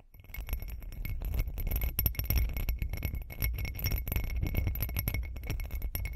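Long green acrylic nails tap rapidly and continuously on the sides of a hand-sized hollow textured glass cup with glitter. The result is a dense patter of short, dry clicks and clinks, heavy in low-end thump, with a faint steady glassy ring near 2 kHz and a thin high shimmer above.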